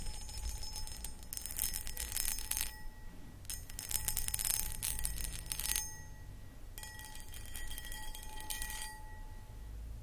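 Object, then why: Cut glass footed bowl. Long acrylic nails tap and scratch the sides of a medium-sized, empty, hollow clear cut glass pedestal bowl. The sound comes in three bright, crackly bursts of rapid clicking and scraping, with faint steady glassy ringing tones and a low rumble underneath.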